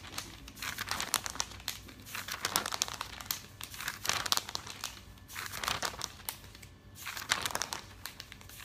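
Fingertips with nails rub the pages of an open, thick glossy paper catalog and quickly lift and turn them. Bright, dry crinkling and rustling come in uneven bursts with brief quieter gaps between page turns.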